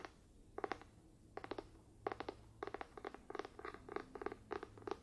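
A medium light-blue, cloth-bound hardcover book with a darker spine, held closed, has its cover scratched and tapped with fingertips and nails. Quick clusters of soft, dry clicks and taps come in short bursts with brief pauses between, each hit dying away almost instantly over a faint low hum.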